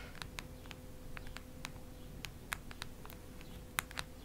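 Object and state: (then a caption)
Hardcover notebook tapped with fingernails. A solid cactus-print hardcover notebook is scratched and tapped with long red nails. Quiet, sharp, dry clicks and brief scratchy ticks land at an irregular pace, with a few brighter taps standing out. Beneath them sit a low rumbling background and a faint steady hum.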